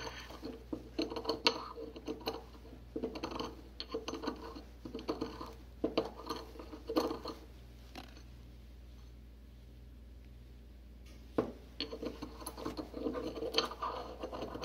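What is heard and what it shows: A porcelain pestle grinds and scratches a small amount of potassium hydroxide flakes inside a small, white, solid thick-walled porcelain mortar held in a gloved hand. Quick bursts of gritty scraping and light ceramic clinks centered around 450 Hz sit over a steady low hum. The grinding pauses for a few seconds, returns with a sharp click, then continues in short strokes.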